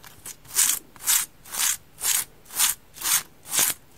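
Fingertips with long dark nails rub and scratch the porous surface of a hand-sized, damp, orange rectangular polyurethane-foam kitchen sponge with a denser layer. A steady series of bright, airy, hissing scrapes repeats about twice per second, each swelling and fading quickly with almost no low end.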